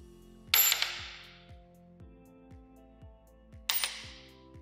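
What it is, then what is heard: Copper-nickel coin giving a dull, short clank when dropped. A modern copper-nickel US nickel or quarter is dropped twice onto a hard surface, each time giving a bright, high-pitched clank with a few quick bounces. Compared with a silver coin, the sound is dull, flat and short, dying away in about a third of a second. Soft rhythmic music plays underneath.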